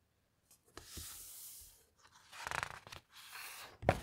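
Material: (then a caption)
Paper. Fingertips rub across the heavy glossy pages of a large hardcover coffee table book and turn them, making soft, bright, hissing swipes and crisp papery rustles. The sound ends with a sharper, louder flap as a page settles.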